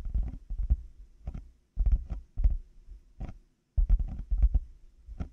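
Fingertips and nails of both hands tap on black, hollow plastic over-ear headphone earcups fitted on a binaural microphone. The result is a quick, irregular patter of deep, muffled, hollow thumps in short clusters. Each tap dies away almost instantly, with brief silent gaps between bursts.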